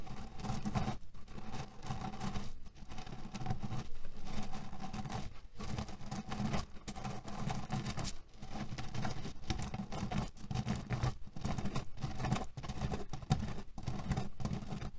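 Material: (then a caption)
Cherry pits. Fingernails of both hands scratch a cotton canvas pillow filled with cherry pits, making a steady, low, rustling scratch with a faint rattle of the pits. The sound runs continuously with brief dips between strokes, carrying little high-end brightness.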